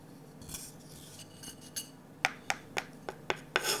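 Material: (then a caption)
Wood. A wooden stick scrapes softly and brushes inside the empty bowl of a glossy orange, varnished wooden ladle. It then taps the bowl five times, each a short, bright, dry click. A final breathy scrape rasps across the bowl.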